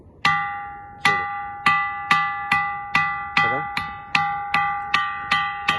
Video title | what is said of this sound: Stone sounding like a bell.. | బండతో కొడితే గుడి గంట కొట్టిన సౌండ్ వస్తుంది